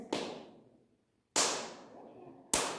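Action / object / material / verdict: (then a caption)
strike / dolomite rock in a cave / dolomite / solid. Ordinary dolomite rock in a cave is struck three times, each blow a sharp, bright crack that fades quickly with little low end. It sounds solid, unlike the porous rock it is being compared with, which gives a hollow noise.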